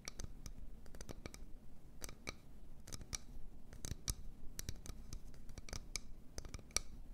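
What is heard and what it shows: An empty medium wooden bowl is held in both hands while long nails tap and scratch its outer wall. The result is a quick, irregular run of sharp, dry clicks with bright high edges that stop at once, over a soft low rumble and faint scratchy texture between taps.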